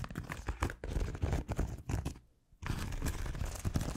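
Long acrylic nails on both hands scratch a round, white, hand-sized solid foam scrub sponge with a textured smiley-face surface. The result is a dense run of soft, low, crackly scratching bursts that briefly fall silent just past the midpoint and then resume steadily to the end.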